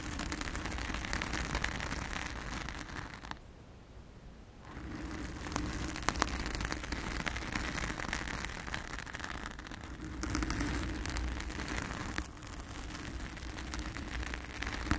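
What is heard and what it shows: Long acrylic nails on both hands scratch and rub a soft, porous round blue foam windscreen over a microphone, producing a dense, crackly rustling with a low rumble underneath and a bright hiss on top. The scratching pauses briefly near the four-second mark, dips again around ten and twelve seconds, and then resumes steadily.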